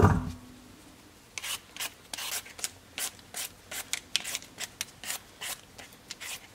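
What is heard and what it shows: A solid raw potato, held in the hand over a red cutting board, is peeled with a black-handled vegetable peeler. After a brief low thump and a second of quiet, about 20 short, bright scraping strokes follow in a steady rhythm, each rasping off quickly with almost no ring.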